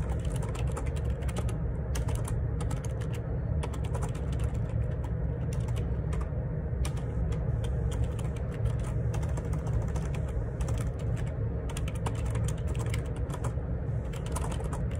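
Fingertips type continuously on the plastic keycaps of a black plastic Perixx Periboard 612 wireless Bluetooth ergonomic split keyboard with a hollow housing, lying on a grey laminate desk. A dense, steady stream of quick clacks runs throughout, with a deep, hollow low-end thump under each keystroke and brief bright ticks on top.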